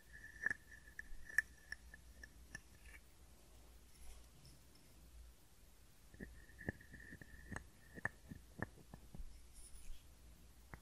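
A hand-sized hollow carved wooden frog guiro is scraped along its ridged back with a wooden stick. It makes quiet, dry clicks and short rasps with a faint woody ring near 1.8 kHz. The clicks come in two clusters separated by a few seconds of near-silence over a low background hum.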